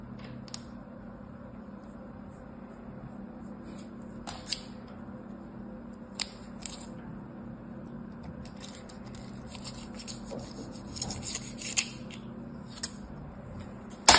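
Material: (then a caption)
Sand. Purple kinetic sand packed into a small orange square plastic mold, held in the hand, is sliced and scraped with a craft knife. Soft, bright scraping and crisp slicing strokes come over a steady low hum, with sharp clicky peaks scattered throughout and a louder one at the very end.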